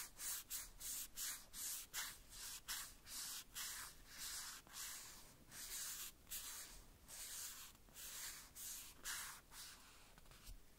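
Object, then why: Small hollow plastic toy boot. A small hollow red plastic boot from a Woody doll is wiped and rubbed with a white cloth strip held between the fingers. Quick repeated back-and-forth strokes make a dry, bright scratchy hiss, with pulses that rise and fall and hardly any low end. The strokes keep up at a steady pace for the whole clip.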